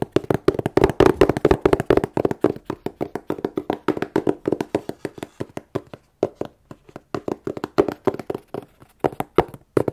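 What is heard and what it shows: A plain, closed, hollow corrugated cardboard shipping box is held upright and tapped on its faces with long nails. The quick, dry, hollow taps have a midrange knock and almost no ring, running in fast clusters with a short pause around six seconds before the tapping resumes.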